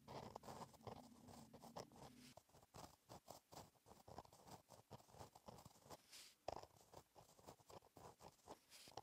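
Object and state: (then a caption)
Pen writing on a paper notebook page. A gel pen tip scratches across a flat, black lined paper page in a notebook while writing in cursive. Quiet, dry scratching strokes come in many short bursts with brief pauses between them, centered in the low-mid range with a faint bright edge. A soft low hum sits under the first couple of seconds.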